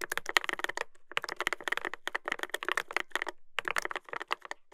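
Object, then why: Mechanical keyboard with plastic keycaps and metal plate. Fingertips type continuously on a Dolphin 2021 mechanical keyboard with a brass plate and plastic keycaps. Quick, crisp clacks come in fast bursts with a few short pauses. The keystrokes have a bright, dry attack centered around 1.9 kHz, with little low end and almost no ring.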